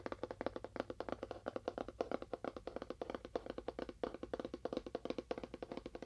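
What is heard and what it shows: Fast tapping on a cardboard box with a faux wood finish produces a rapid, slightly uneven stream of short, dry taps. Each tap is a hollow, papery knock centered around 500 Hz, dying away almost instantly with no ring.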